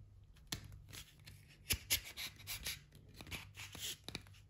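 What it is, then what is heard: Pine wood stretcher bars. Light pine canvas stretcher bars, solid wood strips about a hand-width wide with mitred slotted corners, are held in both hands and pressed and slid together at the joint. Wood rubs and knocks on wood under the fingers and palms, making a quiet series of bright, dry scrapes and short clicks that die away almost at once.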